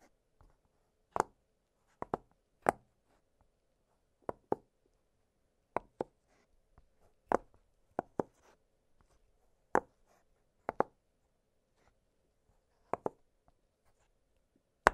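Fingertips press the hollow bubbles of an octagonal blue silicone pop-it fidget toy lying flat on a glittery surface. Seventeen short, dry, quiet pops sound at irregular intervals, some in quick pairs, each ending instantly with no ring. Faint near-silence fills the gaps between them.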